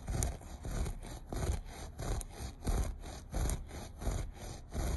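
Short nails scratch the pile of a beige looped carpet in seven rough back-and-forth strokes at an uneven pace. Each stroke makes a dull, low-heavy rasping rub with a faint bright fizz, and the sound stops almost at once between strokes.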